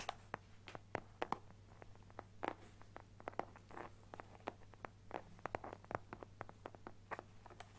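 Fingertips and nails tap and scratch the face of a closed, flat teal Nintendo Switch carrying case with a leaf print, a hollow hard shell with a fabric cover held in both hands. Quick, soft, dry taps mix with brief scratchy rustles, mostly midrange around 880 Hz, over a faint steady low hum. Each sound dies away almost instantly.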